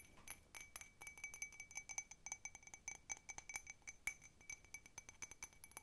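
Long red fingernails tap quickly on the outer surface and rim of a small, hollow, empty blue patterned cup that appears to be ceramic. The result is a rapid run of bright, glassy clinks with a clear tone around 2.3 kHz and high overtones. Each tap dies away almost instantly, with almost no low end.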